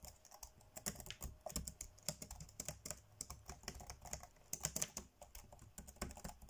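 Fingertips tap fast on the dark grey plastic chiclet keys of a laptop keyboard, typing. A rapid, uneven stream of bright, crisp plastic clicks with light low thumps underneath fills the whole clip. Each click cuts off almost instantly.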